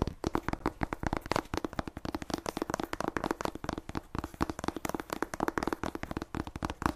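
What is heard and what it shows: Long nails tap fast on the cover and spine edges of the same solid paperback book with a glossy paper cover. The result is a dense, steady stream of dozens of short, dry clicking taps with a faint low tone near 300 Hz. Each bright click stops instantly, with no ring.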